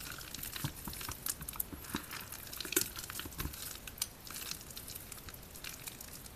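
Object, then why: Mass of bar soap. Bare soapy hands squeeze, crush and rub a large heap of white, soaked, crumbly bar soap with solid wet chunks in a green plastic basin. The result is a steady, irregular stream of bright, wet crackling and crinkling squelches with soft crunches and sharper snaps over quiet low thumps.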